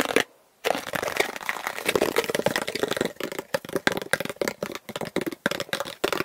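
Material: Plastic.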